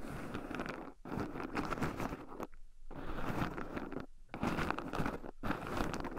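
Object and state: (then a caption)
Raw pine nuts stirred in a wooden bowl. Two wooden chopsticks stir and poke through a small wooden bowl heaped full of shelled raw pine nuts, with two black microphones buried in the pile so the nuts also rub against them. Dense, close crunchy rustling and scratching comes in bursts, with brief near-silent pauses around the 1, 2.5, 4.2 and 5.4 second marks.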